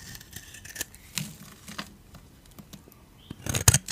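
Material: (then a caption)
Soap. A metal blade scrapes crumbly flakes off a solid, dry, oval beige soap bar with a blue rim. Soft, bright scraping crackles come and go, then build into a louder, crunchier burst of scraping near the end.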